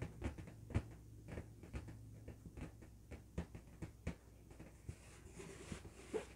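Fingertips and nails tap and scratch an inflated, hollow, blue LED-lit latex balloon held in both hands. Eleven soft, dull taps with quick decay stand out over light scratching and a low steady hum. The sound is quiet and mostly low, with little brightness.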